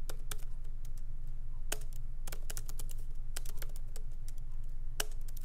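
Fingertips of both hands lightly type on a MacBook Pro laptop keyboard with black plastic keycaps in an aluminum body, resting on a wooden desk. Soft, bright, irregular key clicks with short decays sit over a steady low hum.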